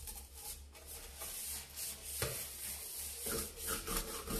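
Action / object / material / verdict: scrape / stainless steel kitchen sink / stainless steel / none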